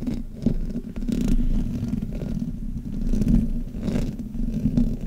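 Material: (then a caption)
Metal mesh. Hands grip a black Blue Yeti microphone and rub the top and sides of its hollow metal mesh grille with fingers and nails. The result is a continuous low, rumbling scrape centered around 230 Hz, with little high content and short bursts of brighter scratching.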